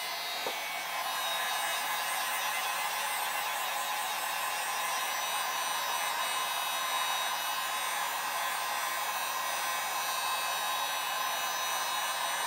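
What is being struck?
Nothing is struck.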